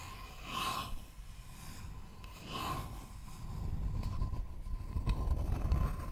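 Long fingernails scratch a thin, flat, rectangular wooden board held close to the microphone, making soft, breathy, rasping strokes that swell and fade over a steady faint tone and low rumble. The scratching grows denser and slightly louder toward the end.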